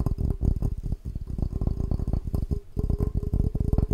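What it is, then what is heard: Glass cup. A tall, clear drinking glass with a red pattern, hollow and empty, is held in the hands and tapped quickly with the fingertips and nails. The result is a dense, steady run of short, dull, low thuds, each with a faint glassy tone that dies away almost at once. The tapping briefly dips quieter just past the halfway point, then picks up again.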